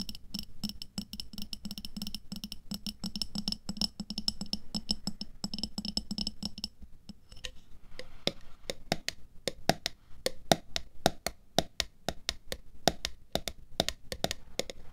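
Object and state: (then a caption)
Glass jar of water beads. Long nails tap a clear glass jar full of red water beads (aqua pearls) and its black lid while the jar is tilted on fur. For the first half the tapping is fast and dense, with a steady low tone and a bright ringing edge. It then turns into sparser, sharper clicks with a short, higher pitched glassy ring that dies away almost at once.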